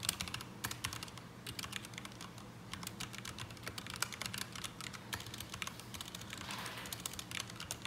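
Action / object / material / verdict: tap / mechanical keyboard with ABS plastic keycaps / ABS plastic / none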